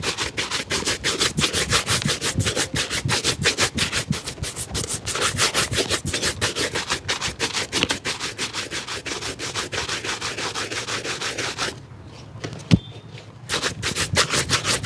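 A black leather boot-style shoe with a rubber sole, held in the lap, is brushed repeatedly with a wooden-backed bristle brush. Fast, steady back-and-forth strokes make a bright, scratchy swishing. The strokes pause briefly near the end, broken by one sharp tap, then resume.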